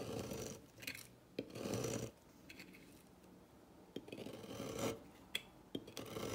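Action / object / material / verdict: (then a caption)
scrape / bar of soap scraped with a thin metal blade / soap / none. A solid turquoise bar of dry soap on a table is cut and scraped with a thin metal blade, giving crisp, crunchy shaving sounds. Broad rasping scrapes alternate with sharp, short clicks and snaps, with bright high-pitched grit over a low rumbling body.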